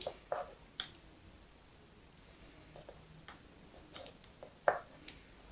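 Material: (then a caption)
Soap. A thin slab of pale pink solid soap, held between fingers with long yellow nails, is cut and snapped into flakes over a pile of soap shavings. Nine short, dry crisp snaps and clicks come with quiet pauses between them, each ending almost at once. The heaviest snap lands near the end.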